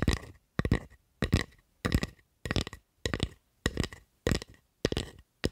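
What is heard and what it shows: Long acrylic nails tap and scratch the blade and handle of a solid, light wooden spatula. Short clustered bursts of dull knocks and scraping repeat at a steady pace, each with a thumpy low body, a faint ringing tone near 2 kHz, and a quick fade into silence between bursts.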